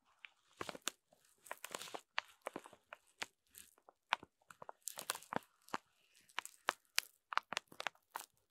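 A rainbow foam sponge pack wrapped in clear plastic film is scraped with a wooden stick and then scratched with a fingernail. The result is a quiet, irregular run of short, crisp crinkles and scratchy ticks, bright and dry with almost no low end or ring.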